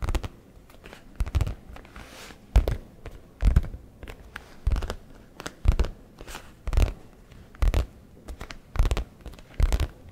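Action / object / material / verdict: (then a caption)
tap / leather messenger bag / leather / none. Fingertips of both hands tap and scratch the flap of a soft, hollow brown leather satchel messenger bag. The result is irregular bursts of dull, low thumps mixed with short scratchy rustles and crinkles, separated by quiet pauses.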